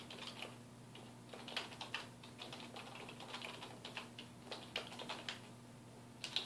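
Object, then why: Plastic computer keyboard. Fingertips of both hands type on a black plastic computer keyboard resting on a wooden desk, producing a steady run of quick, bright, clicky key taps with a few sharper louder strokes. A faint constant low hum runs underneath.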